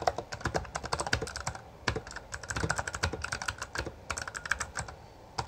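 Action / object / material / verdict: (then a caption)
tap / mechanical keyboard with plastic keycaps / plastic / none. A full-size backlit Bloody B820R mechanical keyboard with plastic keycaps is typed on quickly with the fingertips of both hands. The result is a dense run of short, crisp clacks with a bright, mid-pitched click, broken by brief pauses.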